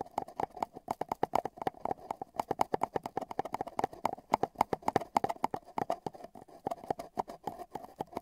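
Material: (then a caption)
Cardboard. Metal tweezers tap and patter at both open ends of a long, hollow, empty brown cardboard tube with tape bands, with the microphone inside. A steady stream of quick, dry taps carries a hollow tone around 850 Hz. Each tap dies away almost instantly.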